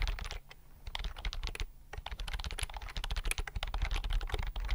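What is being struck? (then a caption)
Plastic computer keyboard. Fingertips type on a slim white plastic computer keyboard held at angles close in front of the mic. Rapid, short, dry key clicks come in quick bursts, with brief pauses around half a second and near 1.7 seconds. Each press carries a soft low thump under its bright clack, and the bursts grow denser toward the end.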